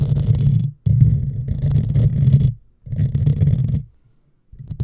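Long fingernails scratch a hollow black metal mesh microphone grille, with some hand movement above the grille. The scratching comes through as a dense, low rumbling scrape with almost no high end, arriving in bursts separated by short silences.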